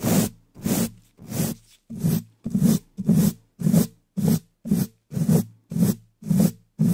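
A gloved hand uses the bristles of a wooden-handled dish brush to scratch and brush the upper left side of a hollow black metal mesh microphone grille in fast strokes. Thirteen separate rough, scratchy strokes come in a steady rhythm, each a dense low rumble around 170 Hz with a faint bright bristle hiss and a quick fade between strokes.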